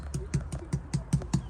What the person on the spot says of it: it's just a nice solid sound rather than a tiny echoey effect when you're in there